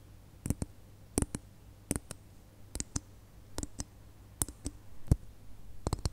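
Long nails tap and scratch the surface of a single small, hollow red glitter plastic Christmas bauble, making 16 sharp, dry clicks that often come in quick pairs. Faint scratching fills the gaps between the taps. Each click is bright and dies away almost instantly over a low, steady hum.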